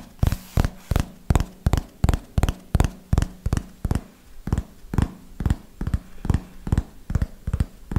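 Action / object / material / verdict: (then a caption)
tap / small hardcover paper notebook / cardboard, paper / none. Fingernails tap the cover and edge of a small red hardcover notebook with paper pages, held upright. About 20 short, dry taps land in a slow, loosely irregular rhythm, each a deep, muted knock that stops almost instantly.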